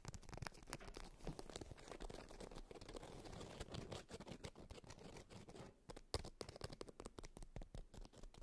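A polka-dot beeswax-coated fabric wrap rolled up and held at both ends is scratched and tapped with long white nails. The result is a dense run of quick, dry crinkles, scratches and taps from the waxed fabric, each fading almost at once, with a few sharper louder taps standing out.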